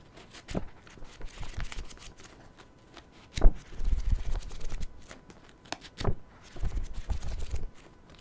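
A paperback self-help book is held open close to a microphone while its pages are flipped and riffled with the fingers. Soft, papery rustling and crinkling comes in uneven bursts, with a sharper flick near the middle and another later, heavy in low thumps and dull rather than bright. Between the flurries it drops back to quiet.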